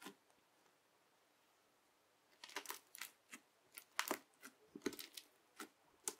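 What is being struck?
Bubble-filled slime pressed with a plastic knife.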